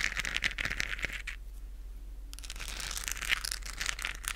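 A hand-sized, hollow, lit plastic galaxy moon lamp with a textured surface is held close to the microphone and scratched with long acrylic nails. Bright, crinkly scratching clicks come in quick bursts, fall to a quiet pause mid-clip, then pick up again with a low steady hum underneath.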